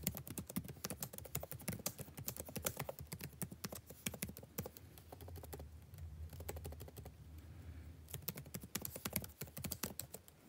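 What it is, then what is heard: Laptop keyboard being typed on. Fingertips of both hands tap rapidly and lightly on the blue-backlit plastic keycaps of a dark laptop keyboard in continuous typing, making a dense run of short, crisp clicks. The typing eases off through the middle, leaving a low hum, then picks back up with quick bright taps to the end.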